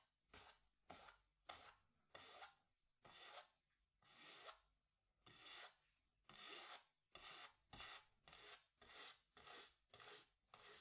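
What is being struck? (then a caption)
Cotton canvas on a wooden stretcher frame. A wooden-handled bristle brush vigorously scrubs black paint over a small stretched cotton canvas on a wooden stretcher frame, hollow behind. It makes 15 separate dry, raspy swishes in an uneven rhythm, each a bright, hissy rub with almost no low end and only a short fade.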